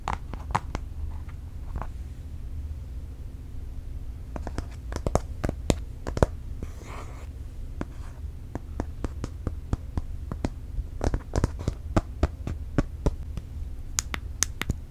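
Long nails tap and scratch the thin, solid aluminium back of an unwrapped space grey iPad Air 4 held upright. A long series of sharp, short, bright clicks comes in quick clusters, with a soft scratch in between, over a steady low hum.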